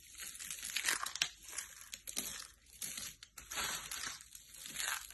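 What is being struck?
Soap flakes.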